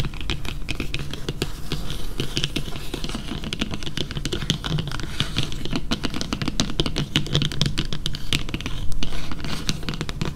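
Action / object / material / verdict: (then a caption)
tap / printed cardboard card / cardboard / none. A flat yellow printed cardboard card lying on a table is tapped and scratched with long fingernails, close up. Rapid, dense, dull taps blend with short scratchy strokes at a steady level for the whole clip, each tap dying out almost at once.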